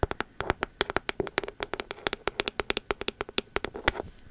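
Long metal nail caps tap rapidly on the engraved bamboo lid and the body of a pink ceramic candle vessel. About 31 quick, sharp, dry clicks with a bright edge are heard, each carrying a faint ringing tone near 390 Hz that dies away almost at once.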